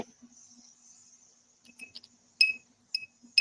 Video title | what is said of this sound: The Jerry Show - Makers and Content Creators Podcast - Saturday 12 pm pacific | some of them have a little more ring to them on the other on these veins